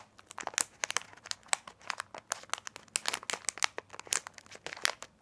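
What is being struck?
Small sealed plastic candy wrapper pack.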